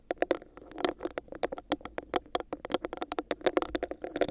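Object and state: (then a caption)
Textured plastic cup tapped with nails. Long nails quickly tap and scratch a hollow, clear, bumpy textured plastic cup placed over the microphone. A fast, uneven run of dry, clicky taps with a hollow midrange body and bright tips mixes with a soft scratchy patter. Each tap dies away almost instantly.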